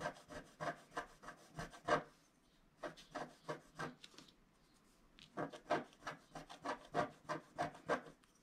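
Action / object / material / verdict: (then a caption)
scrape / wooden stylus scratching a coated scratch-art card / coated paper / none. A wooden stylus scratches short vertical strokes near the bottom of a flat black-coated scratch-art card held down by one hand. The dry, rasping scrapes come in quick bursts in three runs, separated by two brief pauses. Each stroke has a mid-range grainy tone and dies away almost immediately.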